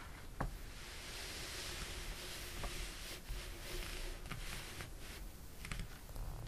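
Fingertips and a palm rub and smooth the pages of an open, thin glossy paper catalog or magazine resting on a table, then turn a page. A steady, soft, bright papery hiss is broken by a few sharp crinkles and flicks as the sheets shift and turn.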